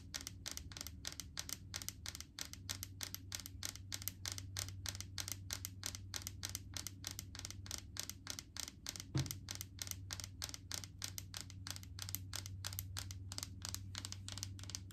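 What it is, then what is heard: Plastic jar of solid coconut oil. Long acrylic nails tap on the green plastic lid and body of a large plastic jar full of solid coconut oil. A fast, steady stream of crisp, bright plastic clicks, about three per second, each dying away almost instantly. A low, steady hum runs underneath.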